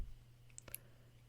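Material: Steel.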